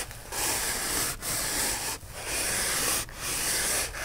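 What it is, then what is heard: Polyethylene foam block. Fingernails rub and scratch the surface of a white polyethylene foam block held upright in the hands. The result is a steady run of bright, hissy scraping strokes, each separated by a brief pause.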